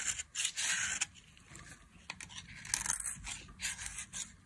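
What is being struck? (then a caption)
Bar of soap scraped with a knife blade. A utility knife blade scrapes a solid, pale yellow dry bar of soap held in a hand with long glittery nails, peeling off fine shavings. Bright, dry scraping strokes come in quick bursts, hissing high with almost no low end, separated by quieter soft rasping between passes.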